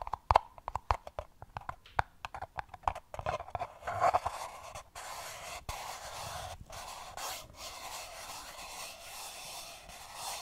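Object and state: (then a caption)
Empty paper cup. A single small, hollow, empty printed paper cup is held upside down while its sides are rubbed and scratched with fingertips and nails. The first half is a rapid series of sharp, dry scratches and taps with a hollow mid-pitched ring near 890 Hz. It then settles into a steady, continuous papery scraping and rubbing.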